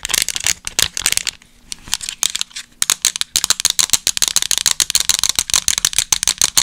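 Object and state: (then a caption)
Plastic remote control. Long acrylic nails rapidly tap and scratch the rubber buttons and casing of a small, hollow, black plastic TV remote control held in front of the microphone. The result is a fast, irregular stream of dry, bright clicks and scratchy rustles, with a brief quieter stretch partway through.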